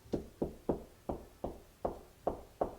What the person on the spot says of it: you hear how you don't hit an echo that's a stud